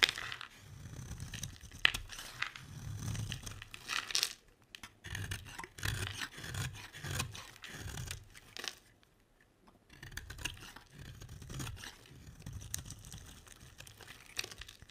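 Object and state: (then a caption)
Dry bar soap being carved. A utility knife blade scrapes and carves curls off the edge of a solid, hand-sized blue bar of dry soap held in one hand with long red nails. Repeated dry, bright rasping strokes come with soft low thuds, and there is a brief quiet pause before the shaving resumes.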